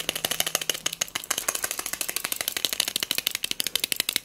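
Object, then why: Small textured glass cup with pearl beads. A small pink hobnail-textured glass votive cup filled with pearl beads is tapped with long nails and shaken so the beads rattle. A fast, steady run of dozens of sharp, dry clicks follows, bright and high with almost no low end and each tick dying out instantly.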